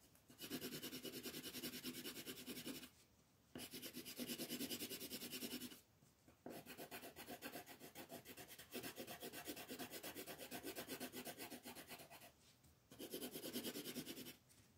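A yellow colored pencil is rubbed with quick shading strokes over a star on a thin printed paper coloring page lying flat on a table. The result is a dense, fast, scratchy rasp with bright, high hiss, running in long bursts broken by a few brief pauses.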